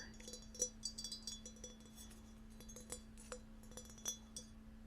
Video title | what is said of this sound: ASMR Binaural Ear to Ear Ceramic Tapping | the deeper sound from the vase part